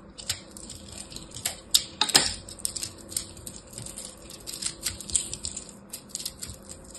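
A small black blade cuts and scrapes a hand-sized solid ball of pressed blue and purple soap chips, crushing it. Crisp, bright crumbling crackles come in an irregular run of sharp ticks over a faint low hum, with the loudest cluster of snaps near the two-second mark.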